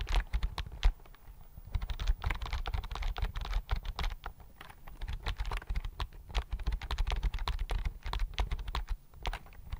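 Fingertips type on a slim white plastic computer keyboard held in front of the mic, producing a steady, uneven run of quick, dry key clicks. Each tap is short with a soft low thump and a brief bright click, and the pace rises and falls slightly without pausing.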